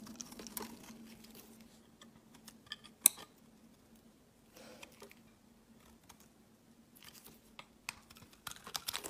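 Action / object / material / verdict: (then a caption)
scrape / bar of soap scraped with a blade / soap / none. A utility blade scrapes grooves and shavings off a hand-held, solid cream rectangular bar of soap. Soft, dry, bright scraping strokes come in short bursts with pauses, one sharp crisp click standing out near the middle, over a faint steady low hum. Quicker scrapes cluster toward the end.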